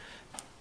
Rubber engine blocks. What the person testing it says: These are very hard. You can probably hear that when I tap them together. They're actually just as hard as almost a rock.